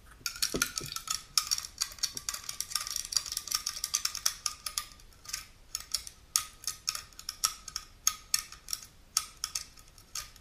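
Long natural nails scratch and tap the top lid of a small unopened aluminum juice can held tilted, then move to its printed side. A rapid, uneven string of bright, dry clicks and scratchy ticks follows, each with a brief thin metallic ring and almost no low end.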